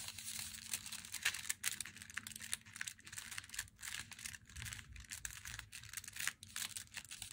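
Long nails tap and scratch the printed front of an unopened, glossy, flat Meiji Black Chocolate cardboard box held in both hands. The clip is a dense run of quick, bright, crinkly taps and papery scrapes with almost no ring, over a faint steady low hum.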